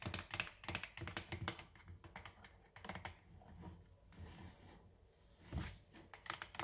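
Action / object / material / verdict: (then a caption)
tap / plastic dish soap bottle / plastic / none. Long orange nails tap rapidly on the front label of a clear plastic dish soap bottle with a pink cap, mostly full of white liquid and held in one hand. Quick, dry, clicky taps come in dense bursts, fade to softer, sparser tapping in the middle, then pick up again in a final cluster.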